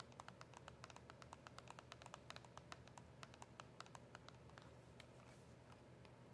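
Long acrylic nails tap on a small, hollow cardboard box of mint press-on nails with a plastic window. Quick, light, bright ticks land in a steady run of about 34 taps, each dying away almost at once over a soft low hum. The taps are quiet, and they thin out toward the end.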